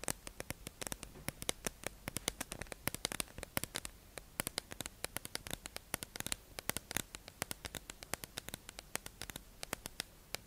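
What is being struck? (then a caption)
Clear plastic tube package holding makeup sponges. A hollow, clear plastic tube-shaped package holding makeup sponges is held in the hand and tapped and scratched with long acrylic nails. Quick, sharp, bright clicks and taps come in a steady, irregular patter over a faint, hissy scratching underneath, each tap dying away almost instantly. The sound is quiet overall.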